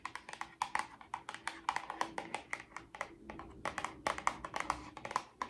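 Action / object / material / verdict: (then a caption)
tap / small cardboard box / cardboard / none. A small, hollow pink printed cardboard Miracle Patch box, held in both hands, is tapped and scratched with long orange nails. The result is a quick, irregular run of dry, crisp clicks with short bright ticks and almost no ring, over a faint steady hum.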